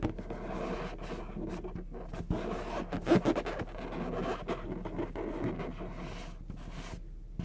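Fingertips and short nails scratch the surface of a medium orange latex balloon, hollow and inflated with air, held in one hand. A steady run of dry, rubbery scraping and squeaking with a dull low hum underneath, swelling into a few louder strokes near the middle before settling back to a soft, continuous rasp.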